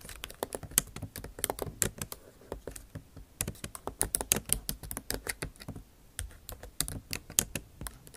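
Long acrylic nail tips type on the bare plastic keys of a MacBook Pro backlit keyboard set in an aluminum body. The result is a steady run of quick, dry clicking taps with bright, high clicks, short pauses between bursts, and almost no ring after each tap.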